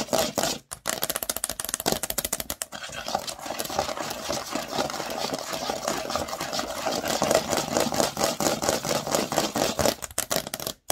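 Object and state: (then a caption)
Plastic Lego baseplate. Long nail tips tap and scratch quickly over the studs of a large, thin, green plastic Lego baseplate. The result is a dense, rapid stream of dry, bright clicks and scrapes with short pauses near the start and end.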